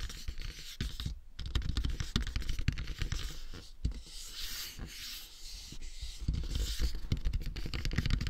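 Fingertips and nails scratch and rub across the face and forehead of a matte black, hollow, hard plastic dummy head microphone. The result is a dense run of dry, close scratches and scrapes with no ring and a heavy low thump. Brighter high hiss rises between the strokes.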